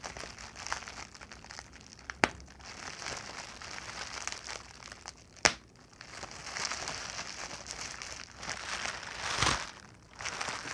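A large clear plastic bubble wrap sheet with air-filled bubbles is pinched, twisted and popped with fingertips and nails. Steady bright crinkling fills the clip, broken by two sharp loud pops near 2.2 and 5.5 seconds and a louder crinkling swell near 9.5 seconds.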